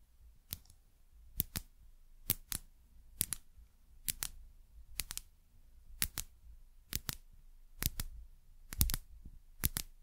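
Long nails tap a small frosted glass dropper bottle with a paper label and a metal-collared dropper. About twenty-two short, bright clicks arrive in quick pairs roughly once a second, each dying away almost instantly over a quiet low hum.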